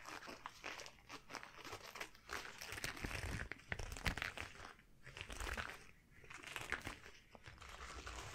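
A pair of long, shiny yellow rubber household gloves is worn on both hands, with the palms and fingers rubbed against each other and stretched close up. The result is continuous rubbery squeaks and crinkling, swelling and fading in waves, with bright crackle over a low rumble.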